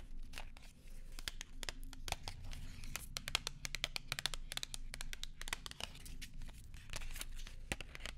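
A small, flat gum package in silver foil and paper wrapping is held close to the microphone and crinkled and tapped with long nails and fingertips. Many quick, sharp, bright clicks and taps land over a steady soft crinkling rustle. A low, muffled rumble runs underneath throughout.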